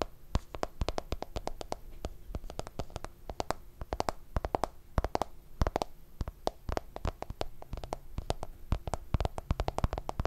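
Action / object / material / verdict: tap / smartphone in hard plastic case / plastic / none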